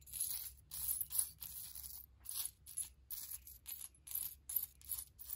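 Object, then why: Small silver-tone metal charms. Fingertips rummage through a heap of small, solid, silver-tone metal charms resting on faux fur, lifting and dropping them. The charms jangle in repeated short, bright bursts of clinking metal with brief gaps between them, over a faint low rumble.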